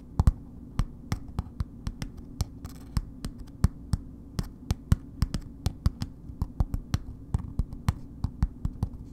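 A solid bar of soap in a red paper wrapper is scratched and tapped with long nails. A few dozen short, dry taps ring out with sharp clicks over a steady low hum. Each tap dies away almost instantly.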